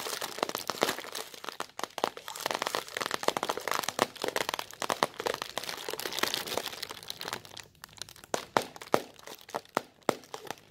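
A thin, translucent white plastic bag, empty and loosely bunched, is crumpled, stretched and crinkled close up by both hands with long red nails. Dense, bright crackling and crinkling fills the first seven seconds with almost no low end, then thins into sparser, sharper crackles with quiet gaps between them.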